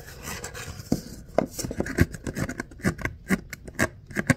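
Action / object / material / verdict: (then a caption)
scrape / ribbed kraft paper cup / paper / none. Fingertips and nails scratch and rub along the vertical ridges of an empty, hollow kraft paper coffee cup with a ribbed outer sleeve, held in both hands. The result is a quick, uneven series of dry, papery rasps and short scratchy ticks, roughly two per second. Each stroke dies away almost at once, leaving a faint hollow rustle between them.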